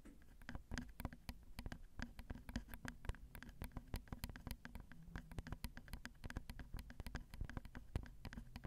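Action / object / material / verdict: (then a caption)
tap / metal microphone grille / metal / none. A long nail taps rapidly on the top of the capsule of a Zoom recorder's XY microphone, which has small hollow metal grilles. The result is a fast, uneven patter of quiet, dull, low thumps, each with a brief bright click on top, dying away almost at once.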